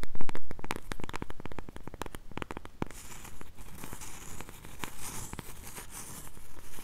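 Long nails tap and scratch the flat face of a solid, round, palm-sized cork coaster held close to a small microphone. The first half is a quick run of crisp, dry taps; the second half turns to a steadier crinkly scratching, dotted with a few more taps.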